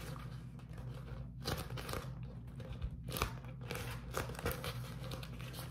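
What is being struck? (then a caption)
Beeswax-coated cotton food wrap. A sheet of beeswax-coated cotton food wrap is bunched in both hands, then squeezed and crinkled by the fingers. Dry, crunchy crinkling bursts rise and fall over a steady low hum. Brief, bright crackles flare out between quieter rustling stretches.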